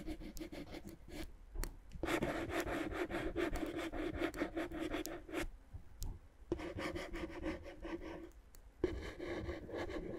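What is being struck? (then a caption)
Inflated plastic air-column packaging rubbed with a wooden stick. A wooden stick rubs and scratches across clear, inflated plastic air-column cushion wrap, whose hollow, air-filled columns add a dull resonance. The sound is a soft, uneven stream of scraping strokes with a low hollow hum, broken by brief quiet gaps.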